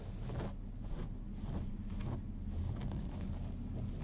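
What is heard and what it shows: Fingernails scratch the pale cotton denim of a pair of jeans lying flat, working below and beside the back pocket. Repeated rough, rasping strokes with a bright hiss ride over a steady low rumble that fills most of the sound.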